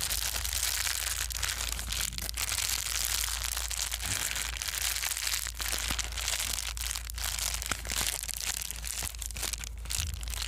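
A small piece of plastic bubble wrap is squeezed and crumpled with fingertips and palms. It makes a steady, dense stream of bright crinkling and crackling with a few sharper crunchy snaps, over a constant low hum, at an even level throughout.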